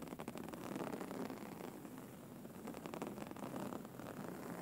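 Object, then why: Woven fabric pillow. Fingernails tap and scratch the textured cover of a soft, filled grey woven-fabric pillow. A quiet, continuous rustling scratch is heard, with dense rapid strokes and light taps and most of the energy in the low-mid range. The scratching eases slightly in the middle before picking up again.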